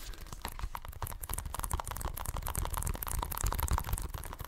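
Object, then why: Plastic game case. Fingertips and nails scratch and tap the front and edges of an Xbox One game case, a hollow plastic case with a printed cover sleeve. The result is a quiet, dense, uneven stream of short, dry taps and scratchy clicks, with soft low thumps under a faint bright crackle.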